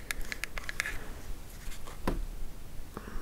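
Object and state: Small cardboard box tapped with nails.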